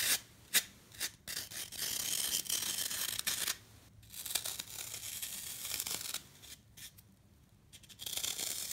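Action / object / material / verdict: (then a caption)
scrape / floral foam block / floral foam / none. Long nails and fingertips scratch and rub across the face of a solid, rectangular block of dry green floral foam with small dents on its surface, held in the hand. Bright, crispy rasping strokes come in uneven bursts with sharp clicks and short quiet pauses between them, with almost no low end.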